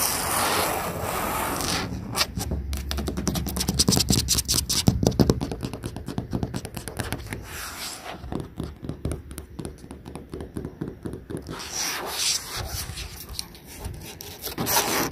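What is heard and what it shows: Long painted nails and fingertips scratch and rub along the surface of a large, hollow, molded yellow plastic playground slide outdoors over wood chips. Rapid, uneven bursts of dry scraping and clicking carry a low, hollow body resonance. Soft, steady rubbing opens and closes the clip, and a quieter, sparser stretch of light scratches falls in the middle.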